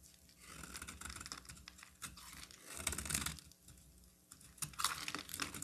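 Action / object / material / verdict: scrape / soap bar / soap / none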